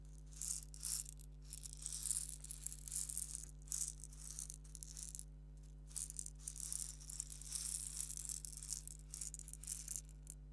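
A small, hollow, purple plastic egg shaker filled with salt or sand is held up in the fingertips and shaken in short bursts. It gives quiet, bright, gritty rattles separated by brief pauses, over a steady low hum.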